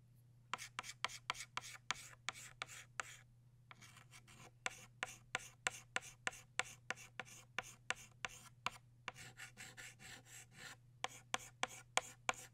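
Blue chalk held in the fingers is rubbed in short strokes across a flat black chalkboard to fill in a butterfly wing. It makes about 29 bright, dry scratching strokes in quick, uneven bursts with brief pauses, over a steady low hum.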